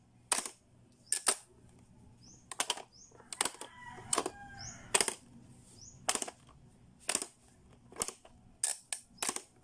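Fingertips press the switches of a blue, hollow, hard-plastic Playskool pop-up learning toy and snap its spring-loaded doors shut, making a series of sharp, bright plastic clicks, some in quick doubles. Faint high tones sound briefly in the middle of the clip.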